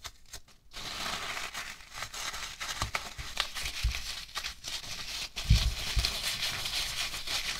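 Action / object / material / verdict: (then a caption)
scrape / polystyrene foam packing peanuts / polystyrene foam / none. Hands squeeze, rub and scratch a heap of light white polystyrene foam packing peanuts with fingertips and nails. The result is a steady, bright crinkling and squeaky crackling rustle, broken by a few soft low thumps and a louder squeeze partway through.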